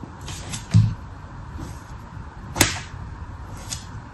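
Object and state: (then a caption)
Kinetic sand shape being scraped. A thin red plastic tool scratches repeated grooves into the surface of a solid, molded dark red kinetic sand shape. Soft, gritty scraping strokes with a low, muffled body come through, with two sharper, louder swipes standing out that carry a brief bright hiss and fade quickly.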